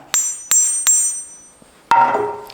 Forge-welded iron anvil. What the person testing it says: i don't think more than 50 percent of this has been forge welded though it doesn't sound too bad